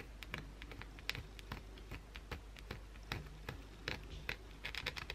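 A solid white bar of soap held in the hand is scratched and gouged by long blue acrylic nails. Quick, dry scratching clicks and scrapes come in uneven bursts, bright with a light papery texture over a low, steady hum.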